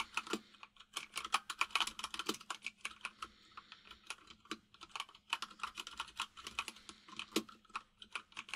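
Both hands type rapidly with their fingertips on a white full-size mechanical keyboard with plastic keycaps, resting on a desk. The result is a steady stream of bright, dry clacks with very short decay, a few landing harder than the rest, over a faint low hum.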